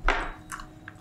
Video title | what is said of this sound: DiBongkar Tuntas Semua trick paranormal, indigo dan konten creator mistis | ini telur kocok ada-ada isinya